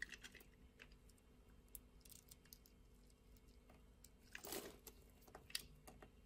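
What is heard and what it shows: A utility blade scrapes and cuts thin strips off a translucent orange bar of soap. Quiet, crisp ticking scrapes scatter throughout. A louder, bright, crunchy scrape swells around the middle of the second half, followed by one more sharp cut near the end.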